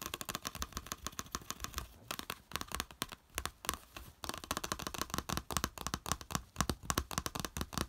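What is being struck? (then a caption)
Small plastic plate. Fingertips and nails rapidly tap and scratch a small flat yellow plastic plate with a slotted raised edge, lying on beige fabric. Dense, quick clicky taps and scrapes run continuously, with a brief softer stretch around the middle.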